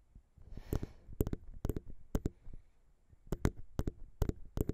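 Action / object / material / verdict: tap / metal microphone capsule / metal / none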